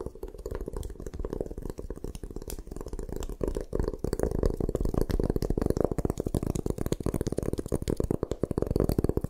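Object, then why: Gym chalk block. Long nails scratch rapidly across the carved face of a solid white gym chalk block held in the hands, making a dense, dry, crumbly rasp. The scratching has a muffled, low-mid body with short, sharp ticks throughout, and it grows slightly louder in the second half.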